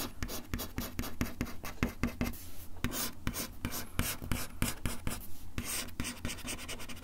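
The tip of a bamboo ear pick scratches across a solid, flat, brown wood-finish desk top in quick, repeated strokes. Each stroke gives a dry, bright scrape, over a steady low hum.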